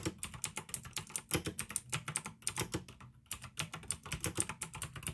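Fingertips type steadily on a pink AUKEY plastic mechanical gaming keyboard with blue switches, producing about 34 sharp, bright clicks with a dull low thud beneath each keystroke. The typing runs continuously except for a brief pause just past the three-second mark, then resumes at the same quick pace.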